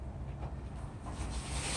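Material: Nothing is struck.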